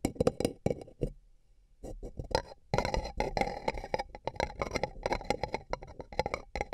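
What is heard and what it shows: Fingertips and nails tap along the sides of two empty, hollow, beige paper cups placed over the microphone ears. The rapid, dry taps have a hollow, papery knock centered in the midrange with crisp high clicks, and each dies away almost instantly. The tapping pauses briefly after the first second, then resumes in a dense, uneven run.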